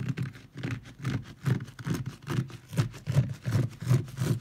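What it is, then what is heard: Wet fabric pile rug. A wet, foamy leopard-print fabric pile rug is rubbed and scratched directly with the fingertips and nails of both hands, no tool. The result is a steady, slightly uneven rhythm of soft scratchy strokes, about two to three per second. Each has a low, padded thump and a brief, bright rasp with a damp, squishy texture.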